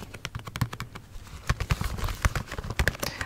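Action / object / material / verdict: tap / cardboard gift box with plastic window / cardboard / none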